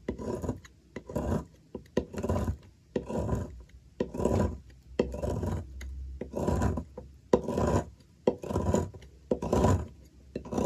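A hand with long nails holds a solid oval white Dalan bar soap on a table while a metal blade scrapes and shaves thin curls off its end. Each stroke makes a dry, rasping scrape with a soft, full low end, repeating roughly once per second. Brief quiet gaps fall between strokes.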